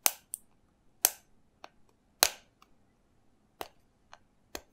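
Fingernails tap and scratch the label and cap of a small, hollow green plastic shot bottle held in both hands, with its cap on. Five loud, sharp, bright clicking taps come at an uneven pace, with fainter ticks between them, each dying away almost at once.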